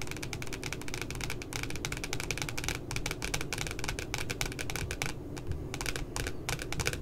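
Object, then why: Glossy cardboard notebook cover tapped with fingernails. Long glitter nails tap rapidly near the top of a pink spiral notebook's glossy cardboard cover, which has a puppy design. The result is a dense, steady stream of crisp, clicky taps with bright, papery edges over a soft low rumble, with a few brief lulls.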